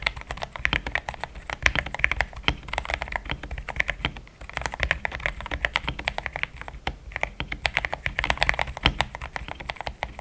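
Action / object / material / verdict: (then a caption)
tap / mechanical keyboard with plastic keycaps / plastic / none. A pink-framed compact mechanical keyboard with a hollow case, polycarbonate plate, linear switches and thick cream XDA plastic keycaps is typed on with fingertips in steady taps. Dense, rapid clacks with a bright, short-ringing upper tone and a soft low thump run continuously throughout.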